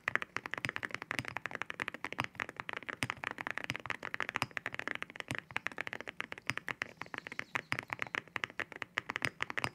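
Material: Ceramic.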